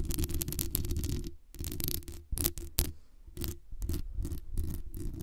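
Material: Metal mesh.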